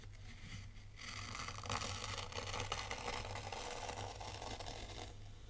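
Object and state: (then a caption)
Fine dry sand being raked. A dark plastic T-rake scrapes through dry, fine white sand raked into wavy patterns in a tray. It makes a steady, crisp, grainy scraping that starts after a quiet second and holds through to the end. A low hum runs underneath the whole clip.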